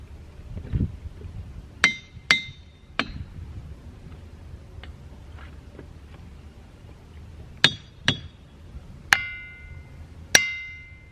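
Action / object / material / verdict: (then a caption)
strike / boulder, rock / rock / none. Boulders in the boulder field at Ringing Rocks County Park in Upper Black Eddy, Pennsylvania, are struck with a hammer seven times: two quick hits, a third, then after a pause four more. Each strike gives a sharp, bright, bell-like clang with a clear ringing tone near 2 kHz that lingers briefly over faint low background rumble.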